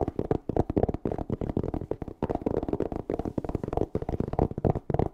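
Fingernails scratch and tap a closed, hollow black hard-shell EVA zipper case held close to the mic. The result is a rapid, dense run of dull, hollow clicks and scratchy rustles that stays low and mid-pitched with little brightness. Each tap dies away almost instantly, with brief pauses between the bursts.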